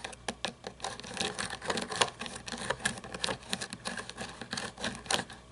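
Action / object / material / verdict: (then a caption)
tap / toy monster truck, plastic and chrome-plated plastic / plastic / none. Long nails tap and scratch over a small toy monster truck with a chrome plastic engine and grille and plastic tires. The result is a quick, irregular run of light, dry clicks with scratchy bright rasping between them, each tap dying away almost instantly.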